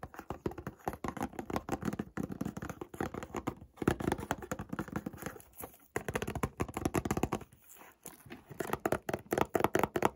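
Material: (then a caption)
Cardboard. Fingertips tap the flat faces of a closed white cardboard Montblanc perfume box held near a wooden door frame. The result is a rapid, dense stream of soft, dull, papery taps with little ring, coming in bursts separated by brief pauses.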